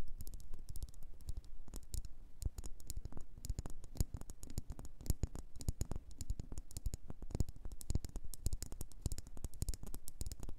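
Long nails tap and scratch a solid red faceted wax pillar candle. The result is a steady, rapid stream of short, dry clicks with bright, crisp edges over a soft low thump, and the scratching adds a faint rustling texture between the taps.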